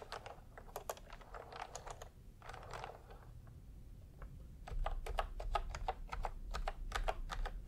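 Fingertips type on a full-size plastic retro computer keyboard with round pastel typewriter-style keycaps and a hollow body, resting on a white cloth. Short, dry clicks and clacks with a mid-range tone come in uneven bursts and a few brushing swipes, growing louder and faster in the last few seconds over a low rumble.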